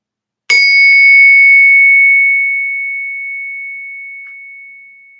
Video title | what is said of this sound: Silver over $80 | That's what silver sounds like.